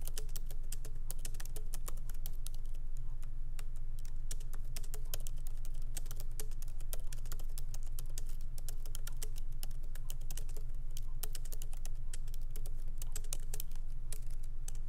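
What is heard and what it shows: Light fingertip typing with both hands on a MacBook Pro laptop keyboard, its small plastic keycaps set in an aluminum body, resting on a wooden desk. Quick, uneven streams of short, bright key clicks die away almost instantly over a steady low hum.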